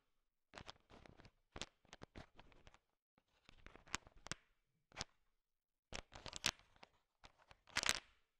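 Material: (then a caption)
Hard sugar shell. A thin wooden stick stirs a large pile of small, solid, sugar-shell-coated chocolate M&Ms, and the candies click against each other. Short bursts of bright, dry clicking and rattling come in several clusters separated by brief silences. The level is quiet overall.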